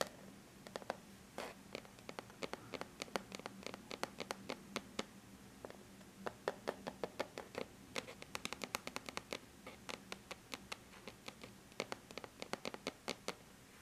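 Long bare natural nail tips lightly tap and scratch the flat silver-gray aluminum lid of a laptop, giving some 66 quick, dry clicks with soft scratching between them. The clicks are quiet and bright with almost no ring, over a faint steady low hum.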